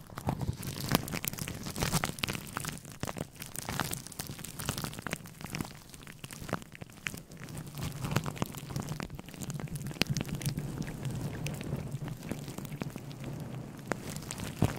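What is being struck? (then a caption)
Synthetic fur microphone windscreen. Fingertips and short nails scratch a grey, fluffy synthetic fur windscreen on a microphone. The result is a dense, continuous crackling rustle with many fast, sharp scratchy bursts over a heavy low rumble. It runs steadily for about fifteen seconds.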